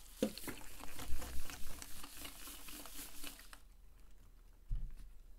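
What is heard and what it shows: A clear plastic PET drink bottle of about 500 ml, capped and mostly filled with pink-tinted water, glitter and sequins, is held in both hands and shaken and tilted back and forth. The liquid sloshes with soft, irregular patters and low thuds for about three and a half seconds. It then settles into a quiet trickle, with one more dull low slosh near the end.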